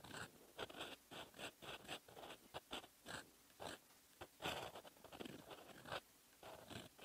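A metal fountain pen nib held in the fingers scratches across a lined paper notebook page, writing in red ink. Short, bright, dry scratching strokes come in quick bursts separated by brief pauses, with little low end.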